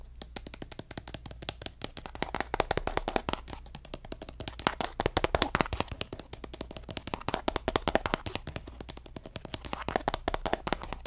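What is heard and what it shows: A hollow pink plastic lotion squeeze tube, held upright, is tapped rapidly with fingertips and nails. The result is a steady stream of short, dry, clicky taps that swell in bursts, with a faint low hum underneath.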